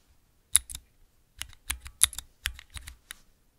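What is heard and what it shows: Fingertips with long nails tap the clear keycaps on a clear plastic 3x3 mechanical switch tester fitted with a grid of Cherry MX switches. A quick, uneven run of sharp, bright plastic clicks and clacks follows, each one very short with a light low thud beneath it, separated by brief quiet gaps.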